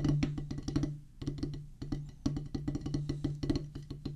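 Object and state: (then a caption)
Rubber drum practice pad. Two wooden drumsticks play quick bursts of strokes on a solid oval practice pad with a black rubber top on a pressboard/wood base. Each stroke is a dull, woody tap with a low thump, dying away quickly. The strokes come in fast runs separated by brief pauses.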